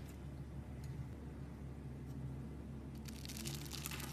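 A metal blade scrapes and cuts a solid, hand-sized bar of pale green soap scored into a grid, shaving off small cubes. Faint scraping ticks sit over a steady low hum, and toward the end a dense burst of bright, crisp crunching and crinkling crackles builds up.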